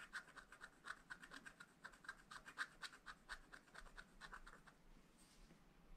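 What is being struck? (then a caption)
Scratch-art paper sheet scratched with a wooden stylus. A wooden stylus scratches lines into the black coating of a scratch-art paper page in a spiral pad. Quick, irregular, dry scratchy strokes with a bright rasp and a steady tone near 1.5 kHz come about twice a second. The strokes fade to a softer, thinner rasp near the end.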